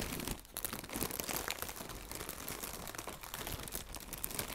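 Fingertips with red nails crinkle and squeeze a hollow strip of blue plastic air cushion packaging. The result is a dense, continuous crackle of bright, sharp crinkles and soft crunches at a fairly steady, low level, with small bursts throughout.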